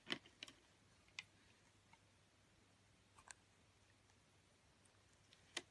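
A metal utility blade shaves thin layers off a green oval bar of soap, making short, crisp, bright clicks and scrapes spaced irregularly over a quiet background. Each cut is quick and dry with almost no ring.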